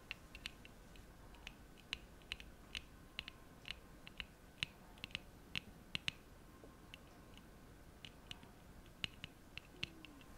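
Long acrylic nails tap and click on the hollow frame and folding arms of a small pair of black plastic-framed eyeglasses with lenses, held in both hands close to the mic. About thirty sharp, bright clicks centered near 3 kHz come in irregular bursts over a faint steady hiss, each dying away almost instantly.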